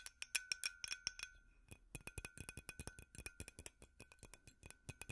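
A glass light bulb is tapped with metal finger picks, giving a rapid, uneven series of bright, glassy clinks that stop almost instantly, over a faint steady tone. The tapping speeds up and turns denser in the second half.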